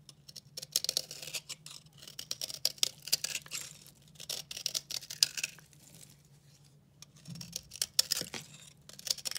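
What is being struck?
Bar of recycled soap carved with a blade.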